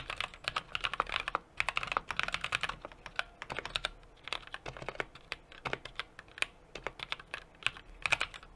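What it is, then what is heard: Mechanical keyboard with aluminium case, typing. Fingertips type continuously on a small 60% mechanical keyboard with an aluminum case, brass plate and plastic keycaps. Dense, crisp, bright key clicks follow one another in quick irregular bursts, each very short with almost no ring and little low end.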